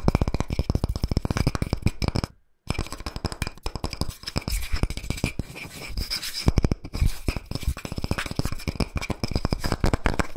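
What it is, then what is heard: Wooden log slice with bark. Fingertips and nails tap and scratch quickly across the smooth cut face and bark rim of a round, flat, solid tree-trunk slice held in the palm. The result is a dense stream of short, dull knocks with a low, thumping body, mixed with dry scratching. The sound stops briefly for about half a second partway through.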